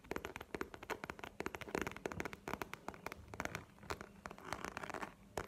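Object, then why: Faux leather wallet. Long nails rapidly tap and scratch a map-printed faux leather wallet held horizontally. The result is a dense run of sharp, dry clicks mixed with scratchy rustling, each tap dying away almost at once.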